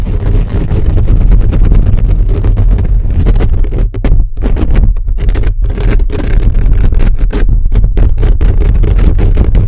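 Fingertips and nails scratch a hollow black metal mesh microphone grille fast and aggressively. The result is a loud, continuous, dense rumbling scrape, heavy in low bass with almost no high end, broken by a few brief dropouts.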